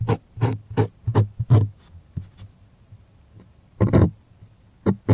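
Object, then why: Stretched cotton canvas on a wooden frame. Fingertips slide, rub and scratch across the taut face of a white stretched cotton art canvas on a wooden stretcher frame, held upright and hollow behind. Short, quick scratchy strokes come in clusters, each with a bright rasp over a low, hollow drum-like thump. Brief quiet pauses separate the bursts.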